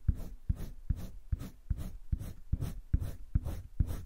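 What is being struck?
Paper sketchbook page under a coloured pencil.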